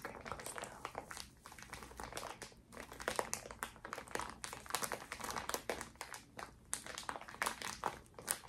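A small, full, clear plastic zip bag of cotton pads is squeezed and crinkled by fingertips and long nails close to the mic. It makes a dense stream of quick, bright crackling and crinkling bursts that rise and fall in loudness for the whole clip, with little low-end weight.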